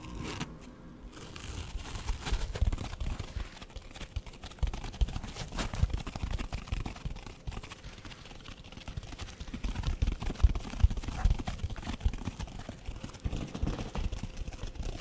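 A red foam sponge with a green scouring top is held close to the microphone and scratched and tapped with fingernails on both the foam and the scouring pad. The result is a steady stream of quick, irregular scratches and soft crackly taps with a heavy low, muffled thump underneath and very little high brightness.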